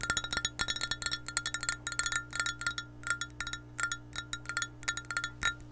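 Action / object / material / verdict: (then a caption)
tap / glass measuring cup / glass / none. Long painted nails tap and scratch an empty, hollow clear glass measuring cup with a handle and red markings, held in hand beside the mic. Quick, uneven clusters of short glassy clicks and chime-like pings ring out around 1.4 kHz with bright high overtones, each dying away almost instantly. A faint steady low hum runs underneath.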